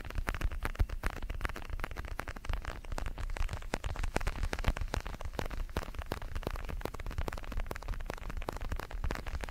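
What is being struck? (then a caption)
Padded synthetic leather boxing glove. Fingertips tap and scratch the surface of a large red synthetic leather boxing glove, hollow with foam padding, held in both hands. A dense, steady stream of quick soft taps and crackly scratches runs throughout, with a dull low thump under each touch and very short decays.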